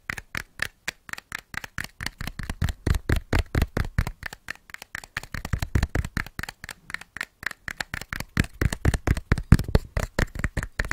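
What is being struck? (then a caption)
Cardboard matchbox. A small printed cardboard matchbox with striker strips is held upright in one hand and scratched and tapped with the fingertips and short nails of the other hand. The result is a fast, irregular run of dozens of short, dry taps and scratches, each dying away almost instantly, with a soft low thud and a papery mid-range rasp.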